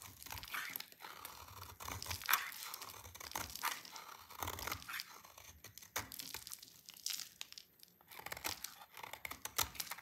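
A solid, dry, oval soap bar with purple and white stripes is held in hand and shaved with a utility knife blade into crunchy flakes. Dry, bright scraping and crunching cuts come in uneven bursts, with crackly flake sounds between strokes and very little low end.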